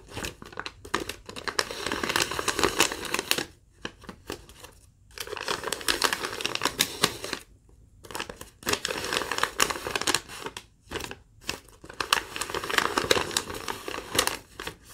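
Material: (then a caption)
Paper. A single thin sheet of yellow legal-pad lined paper, held in the air, is crinkled, bent and rubbed by long acrylic nails. Dense bursts of bright, crackly rustling come in waves, separated by brief near-silent pauses.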